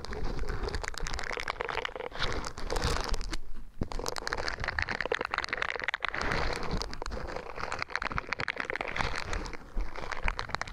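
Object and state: Silicone scrubber sponge.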